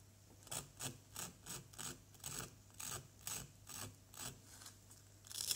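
A pointed wooden stick held in the fingertips scratches and scrapes the surface of a small, solid yellow plaster dig-kit block. A steady series of short, dry, bright rasping strokes repeats evenly, each stopping abruptly. The clip ends on a sharper, louder scrape.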